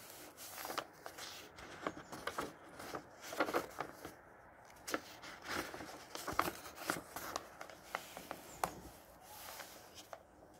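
Fingertips lift and turn single yellowed paper pages of a thick, solid hardcover book from 1948, the paper rustling against paper. Soft, crisp crackles and brushing swishes come in short bursts with quiet gaps between them. The sound is faint and airy, with almost no low end.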